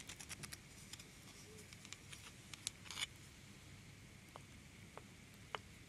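A wooden ladle held in long-nailed fingers stirs and scoops through small solid wood slices in a large wooden bowl. Quiet, bright wood-on-wood clatter comes in a busy run of short clicks over the first three seconds, then a few sparse, isolated taps. Each click dies away almost at once over a soft, steady background hiss.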